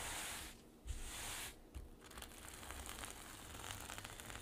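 Long nails scratch and brush across a flat sequin pouch, and palms rub over its flipped silver sequins. A bright, hissy scraping and rustling fills the clip, breaking off twice in short pauses that each end with a soft low bump. It then settles into a steady, crackly sequin rustle.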